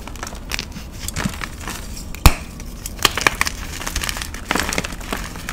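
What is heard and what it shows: A solid white, palm-sized block of magnesium carbonate gym chalk is crushed and crumbled in the fingers of one hand, with powder and chunks falling. Soft, dry crumbling and crackling run throughout, broken by a sharp, bright snap a little past two seconds and clusters of crisp cracks around three seconds and again near four and a half seconds.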